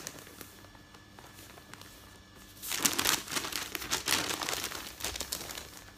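A folded stack of thin printed newsprint lies on a bed while fingertips rub, smooth and turn the sheets. After nearly three seconds of soft, faint rustling, loud, bright crinkling bursts in and continues in uneven surges until the end.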